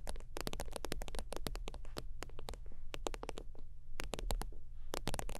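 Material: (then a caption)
Faux leather. Long teal fingernails tap quickly across the surface of a holographic faux-leather zip wallet lying flat. The result is a dense run of short, bright, crisp clicks over a steady low hum.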